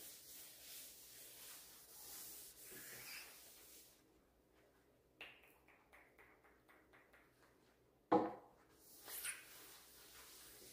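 A green rubber-gloved hand wipes and buffs the top of a large, solid, varnished wooden dining table with a reddish-brown finish using a white cloth, while a small polish bottle stands unused on the table. Soft, breathy rubbing and swishing fills the first four seconds. A quieter stretch of light, rhythmic taps and rubs follows, then a louder knock and a final burst of brushing.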